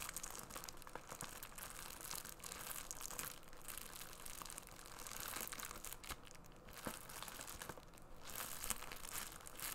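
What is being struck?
Bubble mailer wrapped in plastic film.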